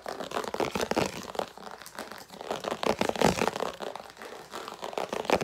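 A translucent red rounded-square plastic food storage lid is held up in the hands and scratched and tapped with long nails. Fast, irregular bursts of crisp, crinkly scratching and light taps overlap in a dense, bright texture, rising and falling in loudness throughout.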